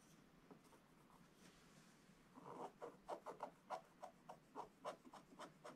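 A wooden stylus scratches details of a dog figure into a flat, black wax-coated scratch-art paper page. After a quiet stretch of faint rubbing, about twelve short, dry scratching strokes follow in an uneven rhythm, each a brief midrange rasp with a light, bright edge.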